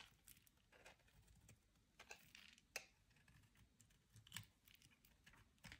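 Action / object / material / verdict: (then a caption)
scrape / bar of soap scraped with a metal blade / soap / none. A metal utility-knife blade carves and scrapes chips off the bottom edge of a solid, dry, hand-sized white soap bar held in the hand. Quiet, dry, crumbly scrapes and short bright cuts come at an irregular pace, with a few sharper crisp snaps standing out above the soft hiss.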